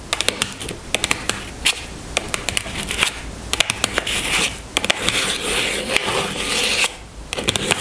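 Long fingernails tap on top of a small pink cardboard box holding a bar of castile soap, resting on a table. Sharp, bright clicks come in quick bursts, with stretches of dry, scratchy rasping in between. Each tap ends almost instantly with no ring.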